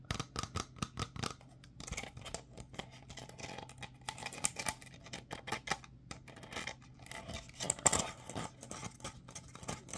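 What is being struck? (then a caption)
Clear plastic bottle with plastic screw cap. A hollow, empty clear plastic bottle with a ridged white plastic screw cap is held in both hands while fingertips and nails rub and scratch the cap and bottle. A quick, uneven series of dry, bright scratches and short clicky taps plays over a faint steady low hum, with a few louder snaps standing out.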